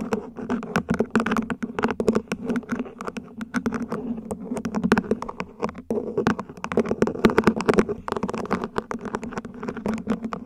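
Long nails tap the sides and top of a small, hollow, mint-green ribbed plant pot, probably plastic, placed upside down. The result is a rapid run of short, dry clicks with a hollow tone around 220 Hz. Gentle taps alternate with brighter ones over a soft background.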